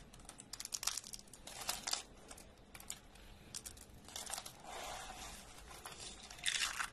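Handfuls of thin, dry orange soap flakes are crushed and crumbled between the fingers of both hands. The result is dry, bright crinkling and crunching in quick, irregular bursts with a soft rustle between them. Most of the sound sits in the high range.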